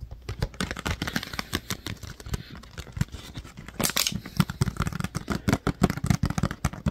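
Fingertips and nails tap and scratch the ridged sides of a clear, thin PET water bottle with a paper label that appears empty. Quick, dry clicks and crinkly scratches come in a rapid, uneven stream with a hollow low thump under them, and sharper, brighter taps toward the end.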